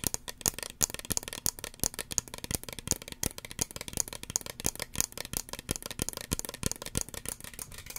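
Fingernails tap and scratch the hollow body of a small red plastic spray bottle with a white pump cap. The result is a rapid, dense run of short, dry, clicky taps mixed with scratchy rustling, bright and crisp with almost no ring after each hit.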